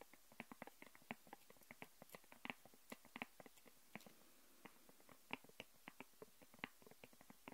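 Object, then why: Thin plastic sheet on a wooden table. Long painted nails tap and scratch a thin, flexible, transparent plastic sheet lying flat on a wooden table, lifting it slightly so it presses against the wood. The result is a quiet, irregular stream of short, dry clicks and crinkly ticks with a crisp, bright edge, each dying away almost instantly.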